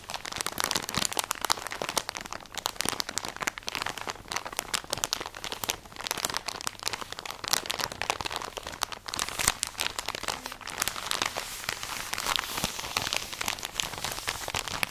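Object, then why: Plastic package of cotton pads. A full plastic package of cotton pads is held in the hands while fingernails scratch and squeeze it. Dense, bright crinkling and crunching plastic goes on steadily throughout with many quick scratches and almost no low end.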